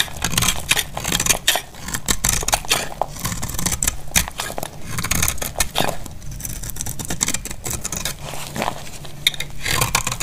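A solid, dried, pale blue oval soap bar held in the hand is shaved with a metal snap-off utility blade. The result is a continuous run of dry, bright scraping and crackling as brittle flakes crack off, with a low rumble underneath.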